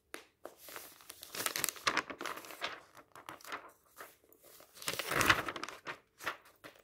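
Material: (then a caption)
Paper. Fingertips flip through the thin paper pages of an open magazine resting on a table. The paper rustles, crinkles and flaps in a series of soft, bright bursts, with a louder sweep of rustling toward the end.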